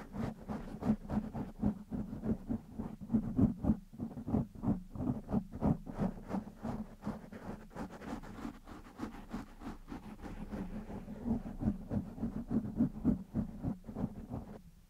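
Fingertips and nails of one hand scratch a soft, porous black foam windscreen on a microphone. The result is a steady run of quick, irregular rubbing strokes, about three or four per second. They sound dull and muffled, centered low around 220 Hz, with no bright edge and almost no ring after each stroke.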